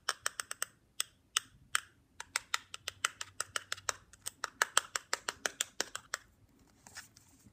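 A plastic stylus taps the back casing of a black plastic Nintendo DSi handheld console, small and hollow and held in hand, making 31 quick, sharp, bright clicks with almost no ring. The taps come in irregular bursts, then give way to a soft, brief scratch of the stylus across the back casing near the end.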